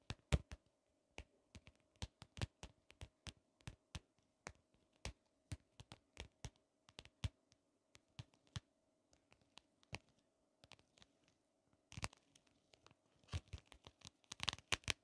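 Long acrylic nails tap and scratch along the ridges of a small, closed, hollow shell-shaped compact mirror with a pink holographic plastic case. Quiet, sharp, dry clicks come one after another with short gaps, over a faint steady hum. Near the end they crowd into quick, brighter scratching bursts.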